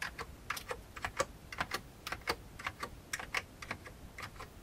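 One hand's fingertips type on the keys of a full-size vintage beige plastic computer keyboard. About nineteen short, crisp clicks land at an uneven, unhurried pace, each dying away almost at once. They have a bright plastic clack with a hollow lower knock beneath.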